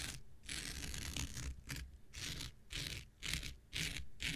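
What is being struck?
Non-woven synthetic scouring pad.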